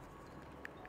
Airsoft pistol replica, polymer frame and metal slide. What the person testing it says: non balla niente è un blocco solido che anche scuotendolo sentite non fa un rumore non c'è un gioco